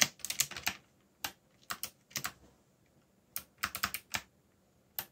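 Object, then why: Plastic mechanical keyboard. Bare fingertips type on a backlit black mechanical keyboard with plastic Korean-labeled keycaps, producing about seventeen crisp, bright plastic clicks. A quick flurry at the start gives way to scattered single presses and short bursts, each click dying away almost instantly with little low-end thump.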